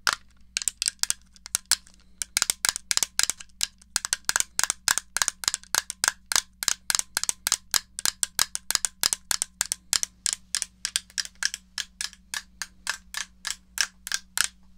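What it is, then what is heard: Plastic game controller. Fingernails tap and click on the buttons and case of a small, hollow, grey plastic NES controller. A long, steady run of sharp, bright, dry clicks comes in quick succession, each dying away almost instantly. A faint low hum sits underneath throughout.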